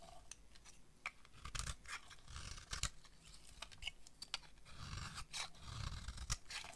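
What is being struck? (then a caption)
Bar of soap scraped with a knife blade. A utility knife blade scrapes fine shavings off a solid yellow bar of dry soap held in the hand. Quick crisp, crunchy scrapes and rasps come in irregular bursts, with a bright, hissy top and soft low thuds beneath.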